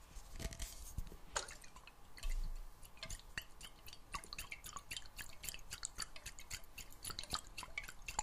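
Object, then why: Glass jar with metal lid, partly filled with water. A clear glass jar partly filled with water and closed with a metal lid is tilted and shaken so the water sloshes inside, while fingernails tap on the glass. The quiet, steady sound is made of many crisp, dripping clicks and gurgles over a soft watery wash, with one brief, louder low rumble a little past two seconds.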